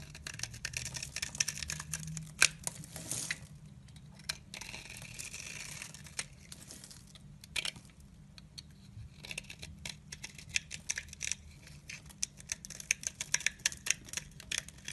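A blade with a pink handle scrapes across a solid rectangular olive-green soap bar, shaving off curls. It makes dry, bright crackling and scraping in dense bursts of quick ticks, with quieter, softer stretches in the middle of the clip.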